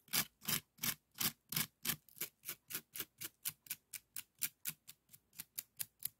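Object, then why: Woven bamboo strip scoop. An empty, small, hollow bokjori scoop of woven bamboo strips is held and scraped across its weave with a bamboo stick wrapped in yellow. It makes 23 short, bright, raspy scrapes in a steady rhythm, each dying away almost at once with little low end.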